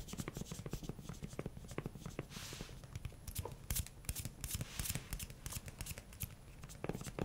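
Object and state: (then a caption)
Silicone spatula. A pink silicone spatula with a grey handle and a solid, flexible head is tapped and rubbed with fingernails and fingertips. The result is a steady run of quick, soft, dull taps with bright clicky edges and brief scratchy rubbing sounds, with no ring after each tap.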